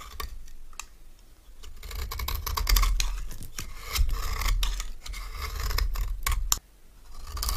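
A metal knife scrapes and shaves the face of a solid, palm-sized orange stamped bar of soap held in one hand, cutting it into crumbly curls. Continuous dry scraping and crisp cutting strokes repeat irregularly, with bright, crackly detail over a low rumble. The sound drops off sharply near the end before the scraping resumes.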